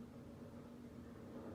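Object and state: Nothing is struck.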